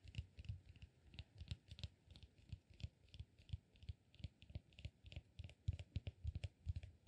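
Fingertips and nails tap and scratch a small, solid, peanut-shaped cork massage ball held in both hands. The result is a quick, uneven run of soft, dull taps with a low thump and faint bright clicks, mixed with light scratching. Each tap dies away almost at once.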